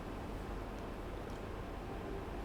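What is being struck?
Nothing is struck.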